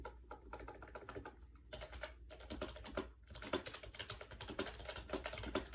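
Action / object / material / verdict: tap / plastic wireless keyboard with round keys / plastic / none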